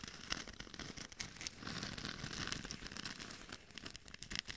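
Long nails scratch the temples and top of a hollow, glitter-covered mannequin head fitted with a microphone, producing a dense, crackly scratching. Many quick, dry crinkling strokes run together with bright high hiss and no ring, swelling and fading in small bursts throughout.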